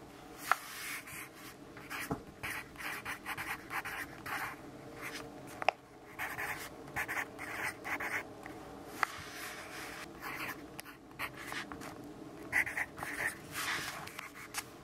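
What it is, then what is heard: Pencil writing on a paper notepad. A yellow graphite pencil writes on a lined paper notepad resting on a wooden desk, with the fingers of the left hand steadying the pad. Quiet bursts of dry, scratchy strokes come and go across the page, with a few sharp, brief taps of the pencil tip standing out. Each sound stops dead with no ring.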